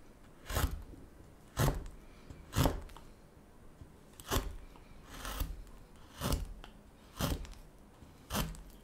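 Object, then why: Basswood spoon blank. A chisel works the end of a solid, light basswood spoon blank with eight separate strokes, about one per second at an uneven pace. Each stroke is a short, dry scraping cut with a low thud and a brief bright edge, and the quiet between strokes holds a faint low background hiss.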